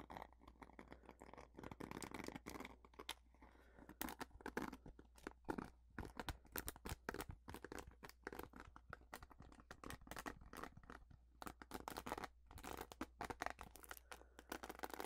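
Long fingernails scratch and tap the dense bristles of a purple plastic paddle hairbrush. A quiet, steady stream of crisp, crackly scratches and quick taps runs throughout. Each sound is dry and stops at once, over a faint low hum.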